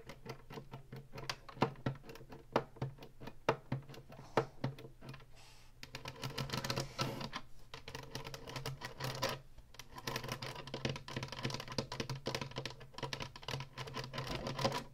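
Long nails tap the buttons of a hollow plastic Atari retro game console and scratch its ridged top, close up. Sharp, dry clicks come first, then give way to dense, bright scratching over a steady low hum.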